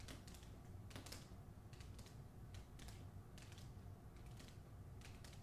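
Long acrylic nails tap quickly on the glossy paper dust jacket covering the front of a hardcover novel held in the hand. The quiet, crisp taps come in quick clusters of bright clicks over a steady low background rumble.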